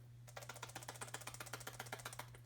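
A clean, fully functional steel hydraulic roller lifter is shaken by hand, and its internal mechanism moves freely, giving a rapid series of light, sharp clicks. A steady low hum runs underneath. The free rattle shows the lifter is working properly, unlike a stuck one.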